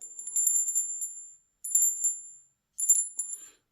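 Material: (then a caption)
Silver. A 999 fine silver bullion piece is pinged, giving three bursts of bright, bell-like ringing pitched very high, each fading within about a second. The clear ring marks genuine fine silver.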